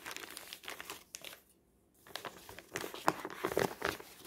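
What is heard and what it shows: Fingertips grip, crinkle and crumple a thin, already-crumpled newsprint advertising flyer with a pink "20% korting" circle on a table. Dense, papery crinkling crackles through the first second and a half, stops for a brief near-silence, then returns as louder, sharper crumpling bursts toward the end.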